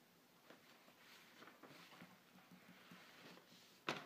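Fingertips and nails lightly trace, scratch and rub across a single glossy paper grocery-store flyer lying flat on a dark table. Soft, quiet, papery scratching and rubbing continue throughout, then one sharper, louder hit lands near the end.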